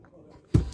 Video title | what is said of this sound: 2023 Toyota Innova Zenix Petrol Detailed Walkaround | these are the solid type hard plastic because when you knock it, inside you can feel there's substance instead of hollow